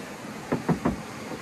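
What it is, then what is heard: Car body panel with thick body filler. Knuckle knocks on a car body panel give three dull, short thuds in quick succession, low-mid in tone with almost no ring or brightness. The hard, packed sound indicates a thick layer of body filler under the paint.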